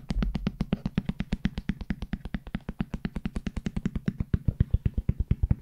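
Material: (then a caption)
Hard plastic. Fingertips tap rapidly on a large black JBL hard-shell headphone case with a hollow molded shell. About 49 short, dull, low knocks come in a steady stream, each dying away instantly with no ring. The taps grow slightly louder toward the end.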